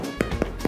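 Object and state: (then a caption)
Hollow-sounding, fully baked bread. Three hollow knocks on a wood-oven-baked loaf with a rustic, naturally torn top, a knock test showing it sounds hollow and is done. The short, dull taps sit over a steady low background hum.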